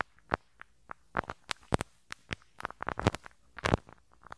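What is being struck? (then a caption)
Metal mesh microphone grille brushed with a rubber-bristle brush. A pink rubber-bristle brush is rubbed in a scratching motion over the small hollow metal mesh grille on the right capsule of a handheld stereo recorder. It makes an irregular series of short, sharp, crackling scratches and pops with a low, boomy thump under each stroke, separated by near silence.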